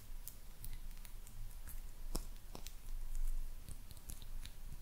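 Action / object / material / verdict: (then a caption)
tap / small glazed ceramic cat figurine / ceramic / none. Long purple nails tap and click on a small, hollow, white glazed ceramic maneki neko lucky cat figurine. The sound is a string of quiet, bright clicks with short ringing, over a low, rumbling background.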